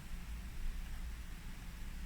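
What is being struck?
Nothing is struck.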